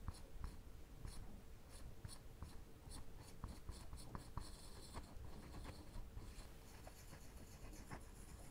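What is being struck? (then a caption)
Plywood board scratched by a woodburning pen tip. A wire-tip woodburning pen slowly drags and scratches along the grain of a flat, solid, light plywood sheet, burning a dark outline. The result is a quiet, continuous scratchy rasp over a low rumble, with faint bright ticks and a steady faint hum underneath.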